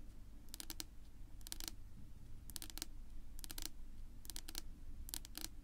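Long natural nail tips of both hands, held vertically, tap a flat, solid dark wood-grain tabletop. Quick, bright clicks come in short clustered bursts that die away almost instantly, over a steady low rumble that fills the background.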